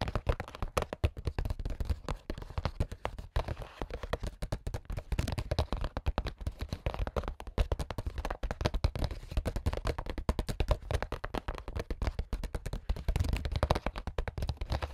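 A translucent printed plastic makeup pouch holding small items is tapped and scratched with AA battery tips worn on the fingers. Dense, rapid dull taps and clicks run throughout with very short decay. The sound is mostly low in weight with little bright content.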